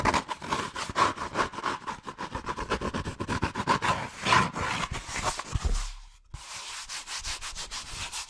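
Fingertips and long nails rapidly rub and scratch a hollow, hand-sized cone of brown molded paper pulp or cardboard, making dry, papery, scraping strokes with a faint tone near 1 kHz. The fast, choppy scratching drops to near silence around six seconds, then resumes as a softer, steadier rub.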